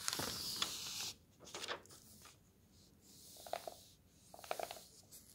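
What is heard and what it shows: Fingers turn a thin paper page of an open road atlas and a palm smooths it flat. A bright, dense rustle fills the first second, then softer swishing rubs and light crinkles follow as the page settles.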